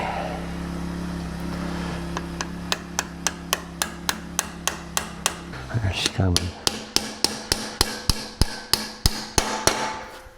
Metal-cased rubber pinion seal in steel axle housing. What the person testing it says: there she's coming. You can hear the difference in the sound.